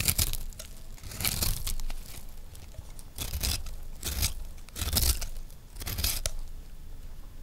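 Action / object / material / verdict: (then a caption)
scrape / recycled soap disc scraped with a metal knife / soap / none. A metal knife blade scrapes a round, solid, dry recycled soap disc, mostly purple, held in one hand. Repeated bright, crunchy, tearing scrapes come in uneven bursts over a low rumble, each stroke fading quickly with little ring.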